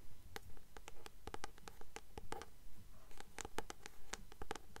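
Long nails tap rapidly and fairly steadily on the glossy card cover of a blue paperback copy of "The Titan's Curse," held upright in both hands. Each tap is a soft, bright click that dies away almost at once, over a quiet low rumble.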